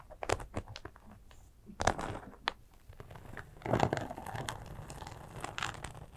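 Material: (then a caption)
Sequin fabric. Long acrylic nails scratch a small, flat, soft glitter sequin fabric zipper cosmetic pouch that appears empty. The result is dry, crinkly scratching with bright rustling bursts and a few louder scrapes, then a denser stretch of scratching toward the end.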